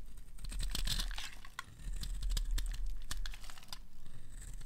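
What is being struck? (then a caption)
Bar of soap. A metal blade scrapes the corner of a solid, dry, green oval bar of soap held in the hand, cutting off chunky curls. Quick, irregular, crisp scraping and crunching strokes run throughout with a brief lull near the middle, over a steady low hum. Each stroke's bright, crackly texture dies away almost instantly.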